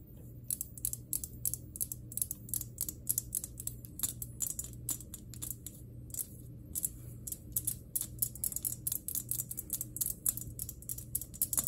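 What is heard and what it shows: Long fingernails tap rapidly on a glass electric globe (plasma ball), producing sharp, bright clicks in quick, uneven bursts. The taps ring only briefly over a steady low hum throughout.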